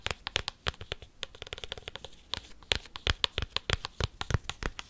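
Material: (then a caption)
Cork. A cork coaster is tapped and scratched quickly with paperclips. Rapid, irregular dry clicks and scratchy bursts come in a steady flurry, each one short and bright with no ring.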